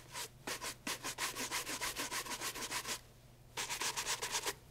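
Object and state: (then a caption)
Leather loafer being brushed. A brown leather loafer held in hand is brushed with a horsehair shoe brush over the leather sole and upper. Quick, brisk bristle strokes make a bright, hissy rubbing rhythm. The strokes pause briefly, then resume for a second run.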